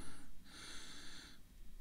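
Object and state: Nothing is struck.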